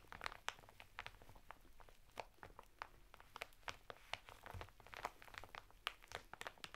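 Fingertips and short nails of both hands quickly tap and scratch the clear plastic of an open packet holding a woven sisal bath mitten on red cardboard, lying flat on a table, pressing over the rough fibre texture. The result is a rapid, irregular run of short, dry crinkly ticks and scratches with a bright edge and almost no ring, over a faint low hum.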